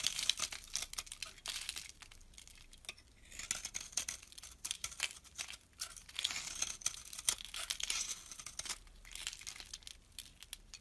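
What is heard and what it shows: A small, solid brown soap bar held in the hand is scraped with a metal blade into crumbly shavings. The sound is a quiet, bright, crackly scraping made of rapid short bursts, with almost no low end and dry, clipped edges that stop without ringing.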